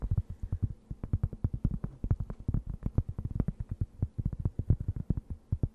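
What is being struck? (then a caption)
Thin round cork board. Long nails scratch a thin, round, solid and flat cork board held close to the mic. The result is a rapid series of short, dry, muffled scratches with a low, thumping body and almost no brightness, each one dying away at once.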